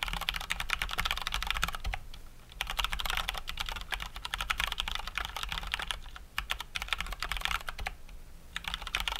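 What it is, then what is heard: Plastic mechanical keyboard. Both hands type with their fingertips on a full-size COX Dauntless mechanical keyboard with Cherry MX Brown switches and plastic keycaps. The typing is fast and continuous, with bright, crisp clacks that stop short. There are brief pauses near 2.3 and 6.3 seconds, over a steady low hum.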